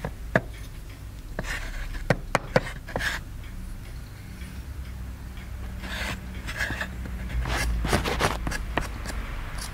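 A wooden chisel stick taps and scrapes at a small, solid white plaster excavation block resting on a table, while a wooden mallet strikes the stick. Sharp, dry clicks stand out over gritty, bright scraping bursts and a steady low background hum. The taps die away almost instantly.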